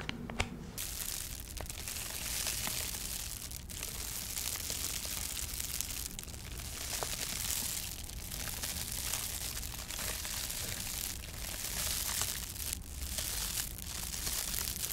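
A large, flexible foil-faced insulation sheet with a wrinkled metallic aluminium foil surface is held in both hands while fingertips and medium nails scratch, press and crinkle the foil. A dense, continuous, bright crinkling and scratching texture runs at a fairly even level throughout, with a soft low rumble underneath.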